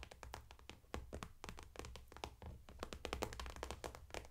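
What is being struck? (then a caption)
Clear PVC makeup bag filled with cosmetics. Long manicured nails tap and scratch across a medium clear vinyl/PVC cosmetic bag with a white daisy print and pink zipper trim, lying flat and full of makeup brushes and products. The result is a rapid, dense stream of short, crisp plastic taps with bright clicky edges, scratchy rustles between them, and a low rumble underneath.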